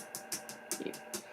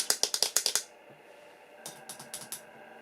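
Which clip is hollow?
The second.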